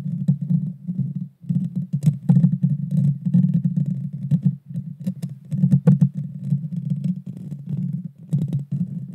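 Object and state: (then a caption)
Metal microphone grille being scratched. Long dark fingernails of both hands scratch the hollow metal mesh grille of a Blue Yeti Nano microphone. The result is a dense, boomy low scraping rumble with rapid clicky textures and occasional sharp bright ticks, broken by brief pauses.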